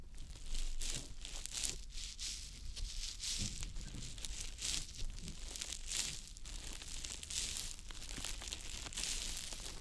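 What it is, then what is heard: Wet konjac sponge rubbed close to a microphone. A small, round, green konjac puff, soft, porous and damp, is held in the fingers and rubbed and pressed over the silicone ear of a dummy-head microphone. The result is a continuous stream of close, wet squishing and crinkly rubbing, with bright hiss in the highs and a low rumble underneath that swells and fades with each stroke.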